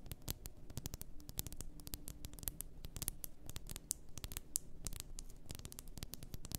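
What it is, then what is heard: Glass bath salt bottle. Long nails quickly tap the sides of an upright, full glass bath salt bottle. The result is a fast, irregular patter of short, dry, bright clicks over a quiet low rumble, with each tap dying away almost at once.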